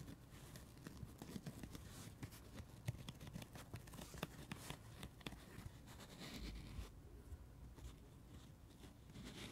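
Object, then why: Foam sponge. A dry, solid, palm-sized foam sponge shaped like a watermelon slice rests on a carpet while fingertips and nails scratch, trace and tap its red face and rind. Quiet, dull scratching and soft crinkly rubbing run throughout, broken by short, muffled taps that stop at once with no ring.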